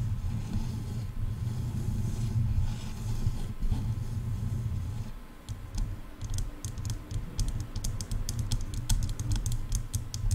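Long painted nails on both hands tap hollow plastic headphone ear cups. A low, muffled rumble fills the first half, then a quick run of light, sharp clicking taps follows from about six seconds to the end.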